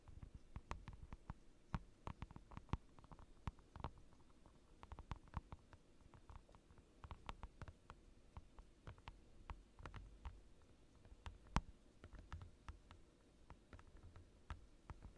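Fingertips tap quickly on a large, flat, clear plastic desk mat lying over a dark desk. The result is a steady, quiet patter of soft, dull thuds with short, bright clicks that stop almost instantly, most of the sound sitting low.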